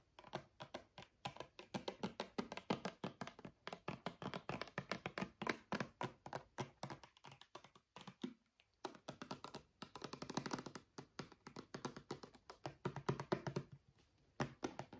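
Long natural fingernails tap rapidly on a small brown plastic travel bottle of argan body oil with a gold cap, held in both hands; the bottle is hollow and filled with liquid. The taps are short, dull plastic clicks with almost no ring, running in quick bursts with a brief pause around the middle.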